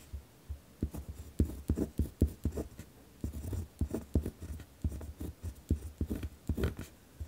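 A ballpoint pen tip scratches across a thin paper notebook sheet resting on a wooden desk while writing. The result is a quick series of dull, low, thudding strokes with faint scratchy highs, each stroke dying away almost at once.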